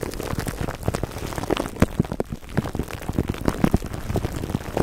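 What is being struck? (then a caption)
Plastic cling wrap over foam microphone windscreen. Fingertips and short nails of both hands scratch clear plastic cling wrap stretched over the dome of a black foam microphone windscreen. The result is a dense, steady crackle of dull, low-heavy crinkles with brief sharper pops scattered throughout, and each pop dies away almost instantly.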